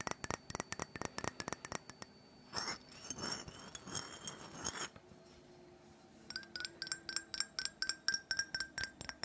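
Long fingernails tap quickly on the body and base of a small black glass perfume bottle with orange liquid inside, giving bright, clinking glassy ticks with a short ring around 1.6 kHz. The taps run in a fast burst, then give way to a couple of seconds of rough, hissy scraping, a brief near-silence, and a final run of ringing taps.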